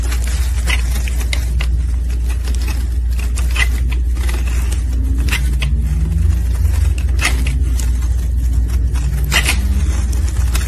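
A solid rectangular orange soap bar, held in a gloved hand, is shaved with a metal utility blade. A steady low hum runs underneath short, bright scraping and crackling strokes that come in irregular bursts. Each stroke fades quickly into the hum.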